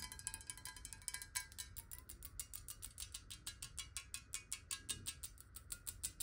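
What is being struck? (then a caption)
Glass bottle partly filled with water. A clear glass bottle partly filled with water is held tilted in the hands and tapped quickly on its side walls with long nails. The result is a rapid, steady run of short, bright clicks with a faint glassy ring around 1.6 kHz over a low background rumble.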